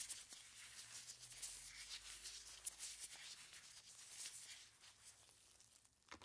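Purple nitrile-gloved hands squeeze and scratch a large clear plastic bag full of crushed ice. The result is a quiet, steady, bright crinkling and crunching, with irregular grainy scrapes and a few sharper ticks of plastic and shifting ice.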